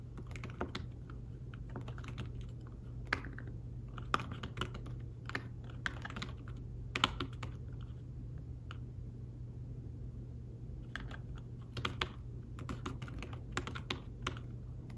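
Fingertips type on a thin tablet folio keyboard with fabric-covered keys, making soft, muffled taps in irregular bursts. Each tap is short and dies away almost instantly, with brighter clicks standing out now and then above a steady low hum.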